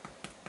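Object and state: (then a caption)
Hollow-sounding baked bread loaf. Three quick taps on the bottom of a baked, cooled no-knead bread loaf give a crusty, almost hollow knock. The hollow sound is a good sign, showing lots of air bubbles inside the loaf.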